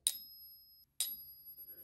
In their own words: so for the silver authentic coins you will have that solid clear consistent ring with your coin ping tester